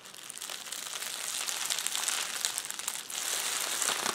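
A roll of clear plastic bubble wrap is squeezed and pressed by both hands' fingers, crinkling and crushing. A dense, continuous bright crackle with tiny pops fills the clip, quiet at first, building by about 1.5 seconds, dipping briefly around 3 seconds, then resuming. There is almost no low end.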